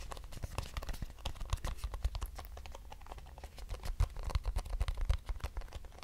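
A small, hollow, square lavender-grey cardboard box held in the hand is tapped and scratched with long nails. Rapid, dull, hollow taps mix with brief bright scratching. Each tap stops almost at once with no ringing.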